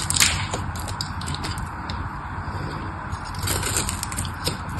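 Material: Soap.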